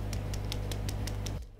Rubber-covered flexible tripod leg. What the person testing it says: you can hear that it does not sound hollow, meaning it's actually filled with very good and high quality material